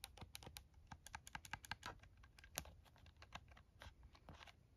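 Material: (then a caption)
Plastic. A plastic scientific calculator is held in both hands while fingers and nails tap its buttons. The result is a quick, irregular series of short, dry, bright plastic clicks over a faint low background rumble.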